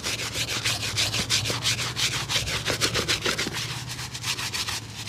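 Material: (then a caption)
Leather. A cobbler scrubs a single dusty grey leather work shoe with a rubber sole, holding the hollow shoe up by its sole and working a small stiff brush over it in quick strokes. Rapid, bright, hissy brushing strokes repeat at about three per second, unevenly timed, over a steady low hum.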